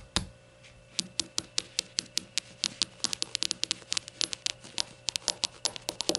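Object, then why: Small glass shot glasses. Rainbow shot glasses are tapped and fidgeted with, giving a quick run of short, bright glassy clinks with some knock. Each hit dies away almost at once, and the taps come in an uneven, speeding-up patter over a faint steady hum.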